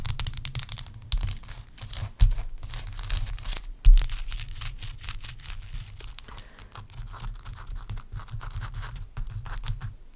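A large, clear, solid block of ice resting on a towel is scratched and rubbed with long acrylic nails. Dense, crackly scraping and bristly rubbing fill the clip in quick irregular strokes. A few sharper knocks stand out near two and four seconds over a steady low hum.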